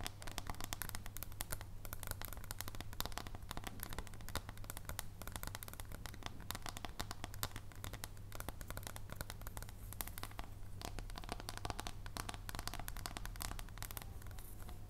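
Long painted nails tap rapidly along the edge of a solid dark chocolate bar held edgewise in both hands. The result is a dense, continuous stream of short, dry clicks with crisp high ticks over a steady low hum.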